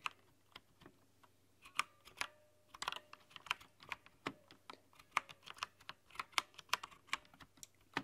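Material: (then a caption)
Plastic. Long nails and fingertips tap the keys of a rainbow-lit mechanical keyboard with translucent plastic keycaps. Quiet, bright, clicky taps come in an irregular run, each dying away almost instantly, over a faint low hum.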